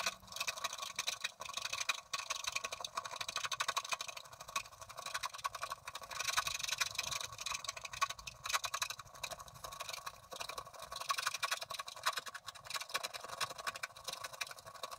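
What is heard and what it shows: A wooden stylus scratches across the right side of a coated scratch-art card held at its bottom edge. The result is a steady stream of dry, bright, rasping scratches made of many quick strokes, with almost no low end and brief pauses between passes.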